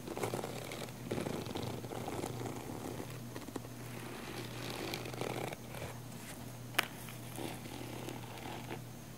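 Long nails scratch the textured sides of a small, hollow, black padded nylon fabric camera case, making a soft, continuous scratchy rustle over a steady low hum. One sharp, bright click stands out near the end.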